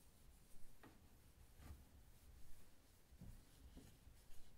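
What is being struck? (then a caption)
Brushed stainless steel oven door and drawer panel. A hand wipes and rubs a folded paper towel across the brushed stainless steel front of an oven door and lower drawer, a large flat panel. Quiet, soft papery swishes and scrubbing strokes come in uneven bursts over a low, dull rumble, with brief brighter scrapes as the towel drags across the metal.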